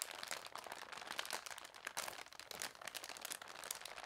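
A thick folded newsprint newspaper lies flat while hands press it and long dark nails scratch and tap the paper. Dense, bright crinkling and crunching are heard with quick tapping bursts and no low end. The sound stays close and dry throughout.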